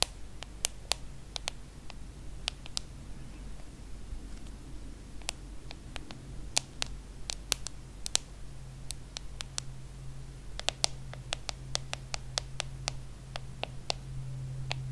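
Long nails tap and scratch the glass screen and aluminum edges of a small, solid hand-held iPhone. Many sharp, bright clicks with almost no ring are heard, scattered irregularly and spaced apart. They sit over a quiet, steady low hum.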